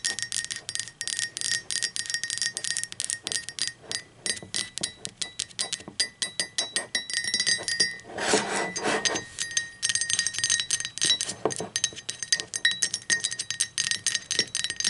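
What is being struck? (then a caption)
Ceramic mug. Long pointed acrylic nails tap and click rapidly on the outer wall of a hollow, empty, speckled teal ceramic mug standing upright on a table. The sound is a dense stream of short, bright clinks with a faint ringing tone. Around the middle, the tapping blurs briefly into a quick rubbing flurry.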